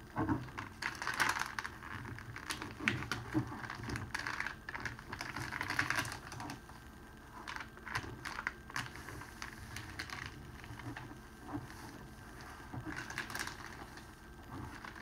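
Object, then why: Thin cellophane wrapping sheet. Fingertips and palms fold and press the edge of a large, thin, clear cellophane wrapping sheet lying flat on a red cloth table. Dense, bright crinkling and crackling comes in quick bursts, louder in the first six seconds and then settling into softer, steadier rustling.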